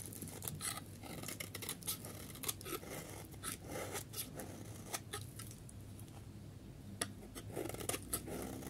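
A solid yellow dry bar of soap, held in the hand, is scraped and carved with a metal snap-off utility blade. Quick, crisp scraping and crackling strokes repeat throughout over a low steady hum, with bright transients on each cut.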